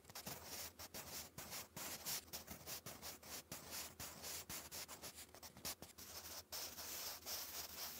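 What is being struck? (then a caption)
Graphite pencil on a paper notebook page. A wooden pencil writes cursive words on a lined paper notebook page, its graphite scratching and rubbing against the paper in bright, hissy strokes. The strokes come in quick bursts broken by short pauses over a faint steady low hum.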